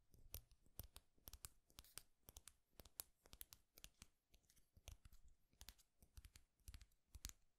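A flat, thin, solid wooden popsicle-stick clip with a small painted owl on top is held in one hand and scratched and tapped with the fingernails. A quiet, irregular stream of sharp, dry clicks and brief scratchy bursts follows, each bright and snappy with almost no ring, over a soft low rustle.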